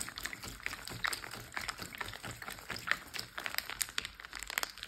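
Fingertips and short nails tap and scratch a large, clear plastic Ziploc bag full of water that lies flat. Dense, fast, crinkly clicks and scrapes sound bright and crisp, with very little low end and almost no ring after each touch.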